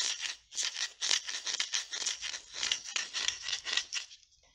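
Fingertips and long nails tap and twist the black plastic screw lid of a small Nescafe glass jar, partly full of coffee, held close to the mic. The result is a rapid, uneven run of bright, crisp clicks and rattly scrapes with almost no low end, each dying away almost at once. The sound fades to near silence at the end.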